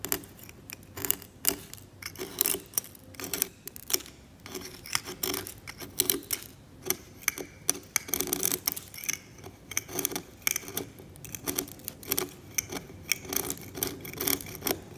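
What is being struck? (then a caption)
Steel scalpel blade on varnished oil painting on canvas. A steel scalpel blade scrapes varnish off a varnished oil painting on canvas. It makes a rapid series of short, dry, bright scratching strokes with a crisp high hiss and almost no low end. The strokes come in uneven bursts throughout.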